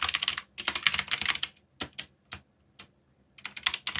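Fingertips type rapidly on the plastic keycaps of a black mechanical keyboard with a yellow backlight. Dense bursts of bright, crisp clacks with very short decay are broken by pauses and a few isolated single keystrokes before another quick flurry.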